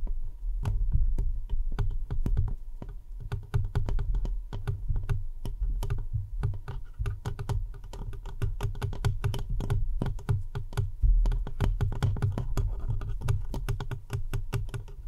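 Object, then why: Metal mesh microphone grille. Fingers of both hands scratch and tap the sides of the rounded metal mesh grille on an uncovered microphone. A dense, rapid stream of crisp, typing-like clicks and scratches runs over a heavy, steady low rumble.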